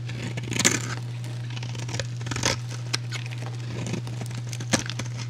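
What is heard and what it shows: A metal utility blade cuts and scrapes small cubes from a solid, rectangular, hand-sized light blue soap bar with a pre-scored grid. Irregular crisp, bright crunching scrapes rise above a steady low hum, with the loudest cuts near the start and end.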